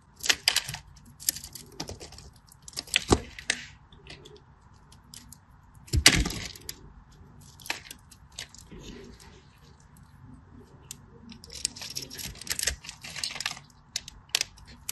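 A craft knife held in the fingers scratches and cuts into a solid green bar of soap with a grid scored into its surface. Crisp, bright scraping and crackling bursts come in uneven clusters, with a louder cut near the middle, over a faint steady hum. Each cut stops almost instantly with no ring.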